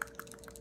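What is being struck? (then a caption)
Liquid eyeliner tube with mixing ball. A liquid eyeliner tube with a mixing ball inside is shaken to mix the liner before use, as its packaging instructs. The ball rattles in quick, sharp clicks, and five short hits stand apart against a quiet background.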